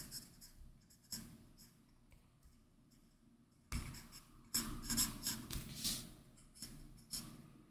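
An Apple Pencil's plastic tip draws continuous inking strokes across a large, flat iPad Pro, whose glass display sits under a matte Paperlike paper-like plastic protector. The result is a soft, bright scratching with short bursts of strokes separated by quieter pauses, louder and denser in the second half.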